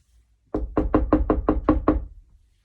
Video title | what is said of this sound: F1 Guess the Sound Game (Phonics) 14/01/21 | that is me knocking on the door